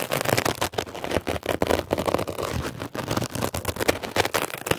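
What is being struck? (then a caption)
Mesh-covered foam sponge scratched with a metal pick. A blue mesh-covered foam scrub sponge is scratched and poked with a metal ear pick, giving a fast run of crackly, scratchy strokes and short pokes. The dense rough scraping runs throughout with brief dips between strokes, centered in the midrange with some bright edge.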